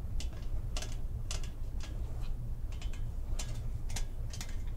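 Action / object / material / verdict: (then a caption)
scrape / perforated sheet-metal pumpkin decoration / perforated metal / none. A large, hollow, empty pumpkin-shaped decoration made of perforated, grater-like metal sheet with a wire stem is held in the hands and tapped and scratched with long painted fingernails along its ribs and holes. Short, bright, raspy scratches and ticks come in quick bursts, each dying away fast over a steady low hum.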